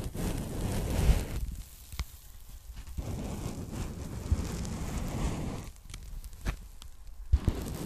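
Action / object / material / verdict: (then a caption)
scrape / polyethylene foam packing bag / polyethylene foam / none. A folded strip of pink polyethylene foam packing bag is held and rubbed with fingers and long nails. The result is soft, low, muffled rustling and scratching in bursts, separated by quieter pauses and punctuated by a few sharp clicks.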